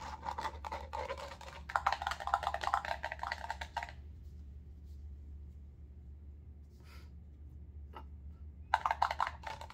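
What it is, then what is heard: Clear plastic cup, empty. Long acrylic nails rapidly tap and scratch a small, empty, clear plastic hotel cup held upside down in the hands, making dense, crisp plastic clicks and scrapes with a bright, hollow ring. The activity runs for about four seconds, pauses to near silence with a low steady hum and a couple of faint touches, then resumes near the end.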